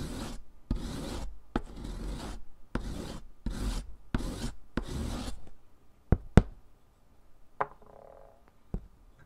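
A solid stick of pink sidewalk chalk is grated by hand over the metal rasp surface of a purple foot file, piling pink powder onto cardboard. About seven broad, scratchy rasping strokes are followed by a few sharp knocks as the grater is lifted at the end.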